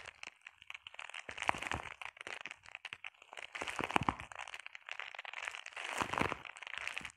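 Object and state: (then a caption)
Plastic bubble wrap. Long painted nails scratch and tap across a flat sheet of clear plastic bubble wrap. Dense crinkling and dry crackling taps fill the clip, with louder scratchy bursts near 1.5, 4 and 6.2 seconds. The sound is bright and close, with very little low end.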